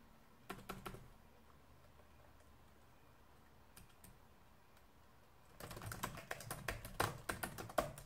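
Fingertips and nails tap the keys of a black plastic laptop keyboard with both hands, giving a few scattered clicks early on over a quiet background. From about the midpoint, a rapid, uneven burst of bright, crisp keystrokes runs to the end.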